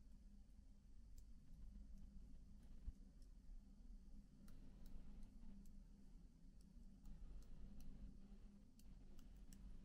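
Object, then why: Plastic laptop keyboard keys. Fingertips with short nails lightly tap individual black plastic keycaps on a MacBook keyboard set in an aluminum body. Faint, short, bright ticks are scattered across the clip over a steady low hum.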